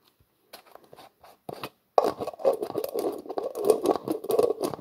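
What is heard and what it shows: Hands twist the black plastic screw lid on a translucent plastic jar, making dry scraping clicks. The clip opens with a few short, sparse scrapes, then turns into a dense run of irregular ratcheting clicks and rasps centered in the midrange with a bright edge.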